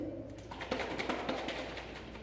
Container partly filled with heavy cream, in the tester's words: That's the sound of the cream sloshing around in this container.